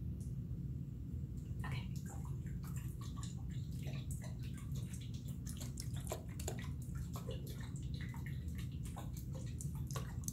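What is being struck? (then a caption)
Small glass jar with water. A small clear glass jar with a green lid, partly filled with water, is held in one hand and shaken and tilted close to the microphone. A steady low rumble runs underneath, while short bright sloshes and splashes of the water inside the glass come through throughout.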